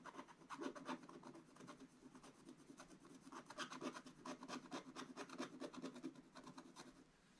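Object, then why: Coated scratch-art paper and wooden stylus. A wooden stylus scratches away the black layer of a coated scratch-art paper page in a flat book, making repeated dry, rasping strokes. The scratches come in a quick, uneven rhythm, with a low-mid body and bright, gritty streaks on each stroke. The sound stays at a soft, steady level before tapering off at the end.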